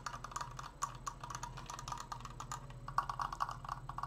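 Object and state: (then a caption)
Wooden triangular frame. A large, open, triangular Triforce frame made of stained wooden slats in a hollow construction is held close to the mic and fast-tapped with fingertips and nails on the slats. The result is a rapid, uneven stream of short, dry, woody clicks with a hollow mid-pitched knock and very little ring. A steady low hum sits underneath.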